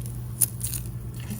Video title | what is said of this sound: [내쉬빌 장금이] 데마끼스시 핸드롤 데마끼스시 완전정복 할수 있어요. 손님초대나 파티음식으로 최고인 핸드롤스시 만드는 방법이에요. 영상이 기니까 꼭 배우고 싶은 분만 보세요. | 바삭바삭. 바삭바삭한 소리가 들립니다. 이런 상태를 만들어 주시는 거예요.